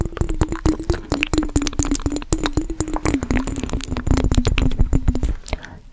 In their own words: 26:40 - fast tapping on mason jar with water